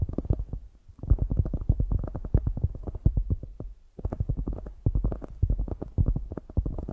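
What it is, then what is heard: Polyurethane foam squishy toy. A solid soft polyurethane foam squishy donut toy is tapped and scratched with long grey acrylic nails. Rapid, dense, muffled low thuds and soft scratches come in two bursts, with a brief pause between them.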